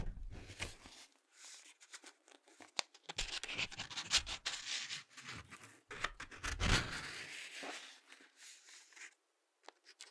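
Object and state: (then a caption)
Glossy paper book pages scratched and tapped. Fingertips and short nails scratch and tap the glossy printed paper pages of an open Ladybird picture dictionary as the pages are turned. The sound is a quiet, bright, scratchy rustling, broken by irregular soft taps and short swishes from the turning pages, and it trails off to near silence at the end.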